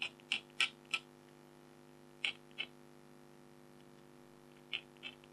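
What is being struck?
Black-coated foil scratch art card.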